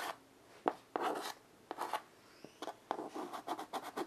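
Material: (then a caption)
Chalk. A child's fingers hold white chalk and draw short strokes on the slate surface of a small rectangular chalkboard with a light wooden frame, lying flat on carpet. Each stroke gives a quick, dry, scratchy rasp with a sharp start and almost no ring. The strokes come as a run of separate bursts with quiet gaps between them.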